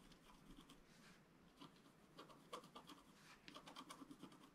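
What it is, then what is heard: Scratch art paper being scratched. A wooden stylus scratches fine detail near the lower right of a flat scratch art paper sheet lying on a table. Quiet, dry, irregular scratching strokes come in quick bursts, with brief bright rasps that grow slightly denser toward the end.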